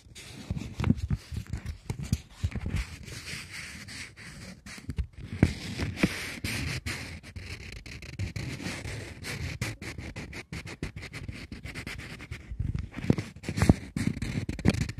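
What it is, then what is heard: Polymer banknote being crinkled and scratched. A plastic polymer £20 banknote is folded small in both hands, then crinkled and scratched with long nails. The result is dense, uneven crackling and scraping with many short, sharp ticks over a low rustle.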